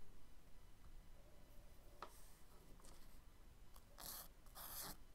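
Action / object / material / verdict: scrape / charcoal stick on kraft paper sketchbook page / paper / none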